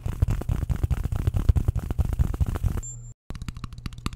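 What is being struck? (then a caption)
Ceramic plate and metal fork. A white, shallow, empty square ceramic plate is held up with a metal fork against its back, and it is tapped and scratched in a rapid series of clicks. Dense, low-heavy clicking runs for almost three seconds, then a brief steady hum and a moment of silence, before sparser clicks resume to the end.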